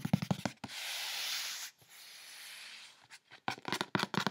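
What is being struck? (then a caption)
Corrugated cardboard box. Fingertips and long nails scratch and rub quickly across the side and top of a large, closed, brown corrugated cardboard shipping box lying on a bed. Short, sharp scratchy bursts open the clip, followed by two long, steady, hissing rubs, then another flurry of quick, crisp scratches at the end.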